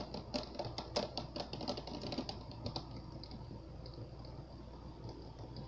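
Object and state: Fingernail tapping on a water-filled plastic globe.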